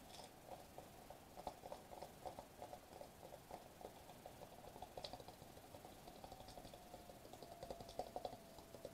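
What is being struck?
Foil-laminated plastic bubble wrap sheet.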